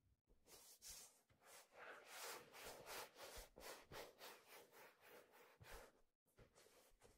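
A hand grips and rubs along the brim and hollow crown of a black leather fedora with a stiff brim. The result is a steady run of soft, breathy rubbing strokes, each a brief swell of broadband hiss that reaches high, with a pause near the end before it resumes.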